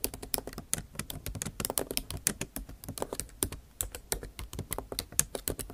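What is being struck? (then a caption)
Plastic laptop keys in a metal body. Long nail tips type rapidly on a backlit MacBook Pro keyboard with plastic keycaps in an aluminum body. Sharp, bright clicks sound in a quick, steady stream, about 33 in all. Each tap stops almost at once, with a faint low thud under it.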